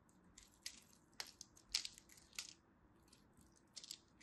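A craft blade scrapes and chips the scored end of a solid, dry, purple-and-white striped soap bar, and the flakes fall onto a pile. Quiet, bright, crisp scratching crunches come in short separate bursts with almost no ring, and faint rustling in between.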